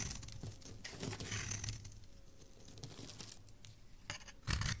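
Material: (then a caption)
Soap. A solid white Dalan Therapy bar soap, held in the hand, is shaved with a metal blade. Crisp, bright scraping strokes come in irregular bursts over a soft low rumble, and a louder, fuller scrape closes the clip.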